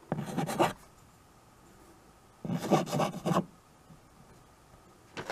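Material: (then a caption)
Chalk. White chalk held in the fingers scratches writing strokes across the surface of a small handheld chalkboard with a wooden frame. Three bursts of dry, raspy scraping are heard, separated by quiet pauses; the last burst begins at the end of the clip.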